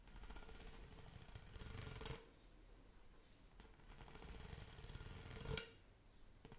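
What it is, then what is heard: Plastic pop tube toy. Long acrylic nails scratch along the ridges of a pink corrugated hollow plastic pop tube toy. Two bursts of rapid, ratcheting scratches are heard, each about two seconds long, with a buzzy low body and a bright, raspy edge. A quieter pause separates the bursts, and a brief final scrape comes at the end.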